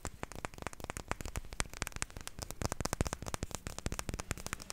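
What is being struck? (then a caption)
Glass perfume bottle with metal cap. A small rectangular clear glass perfume bottle with a white label and a silver metal cap is tapped with long nails. A rapid, steady series of short, sharp clicking taps follows, each dying away almost at once.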